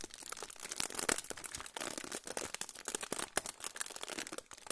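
A silver aluminium foil pouch is held in both hands close to the microphone and crinkled and rubbed with the fingertips. The result is a continuous stream of dense, bright, crackling crinkles with many sharp little snaps. There is almost no low end.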